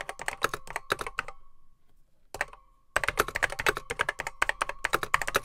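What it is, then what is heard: Plastic mechanical computer keyboard. Fingertips type on a beige plastic Apple M0110B keyboard with grey plastic keycaps, its hollow case holding mechanical switches. Rapid, sharp clicky keystrokes stop for about a second, during which a faint hollow ring lingers. A brief burst follows, then typing resumes in a fast, bright clatter.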